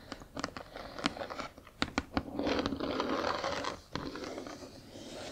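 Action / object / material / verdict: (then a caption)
tap / cardboard box / cardboard / none. Long acrylic nails tap and scratch a large, flat cardboard Spirograph toy box, first along its narrow side edge and then across its printed back face. Sharp, dry taps and crinkly scrapes give way to a steady, papery scratching hiss, broken by another crisp tap before the scratching fades softer toward the end.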